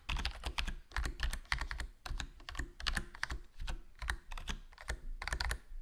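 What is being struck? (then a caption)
Plastic membrane keyboard. A HyperX Alloy Core RGB plastic membrane gaming keyboard with a foam mod, black plastic body, black plastic keycaps and a hollow case is typed on continuously with fingertips. The result is a steady run of soft, short, muffled key presses in quick bursts, with a deep low thump under bright clicky tops and very little ring after each stroke.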